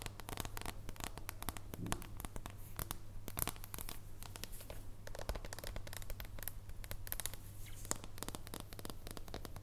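Long painted nails scratch and tap across the surface of a thin, solid dark chocolate bar held at an angle. The result is a dense run of quick, dry clicks and scratchy ticks, each dying away almost instantly, with occasional brighter taps standing out. A steady low hum sits underneath throughout.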